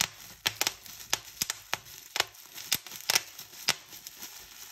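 Fingertips and long nails pinch single bubbles one by one on a clear plastic bubble wrap sheet, giving rapid, sharp, bright pops. Faint crinkling rustles fill the quiet gaps between the pops.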